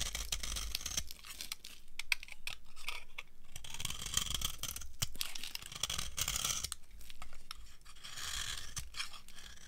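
An opaque beige bar of old, dry soap is held in the hand and carved with a metal knife into crunchy curls. Dense, dry scraping and crackling crunches repeat steadily, with bright high hiss and low rumble under them.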